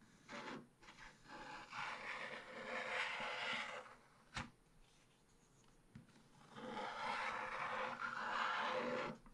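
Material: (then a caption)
Waxed paper. A wooden stylus stick scratches a black wax-coated scratch-art card page in a small spiral-bound book lying flat on a table, revealing the colourful rooster picture underneath. Dry, bright rasping strokes run in two long stretches, separated by a quiet pause broken by a sharp tap near the middle and a softer one just after.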